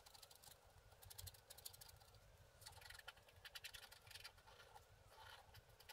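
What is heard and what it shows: A wooden stick scratches the coating off a flat, black wax-coated scratch art card lying on a table, in short repeated strokes. Quiet bursts of dry, bright scratching come and go in quick clusters over a faint low rumble.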